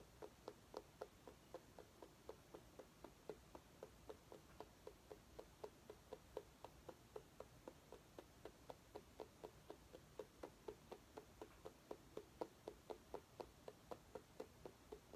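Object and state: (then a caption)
Mini pumpkin tapped with nails. A small orange mini pumpkin held in both hands is tapped rapidly with long nails. About 44 short, hollow taps sound at roughly four per second in a slightly uneven rhythm. Each tap is quiet and midrange, with a faint bright click and almost no ring.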